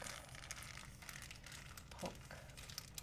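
A small, folded, empty white plastic shopping bag is crinkled and pinched between fingertips. The result is a quiet, continuous stream of soft, bright crinkles and crackles over a faint low rumble, with a few slightly sharper snaps standing out.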